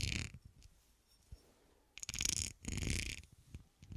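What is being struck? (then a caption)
Cut glass horseshoe. Fingertips and nails rub and scratch a clear, solid, textured, hand-sized cut glass horseshoe held on a dark table. Three scratchy bursts mix a bassy low rumble with bright, hissy grit, separated by quiet gaps with faint ticks.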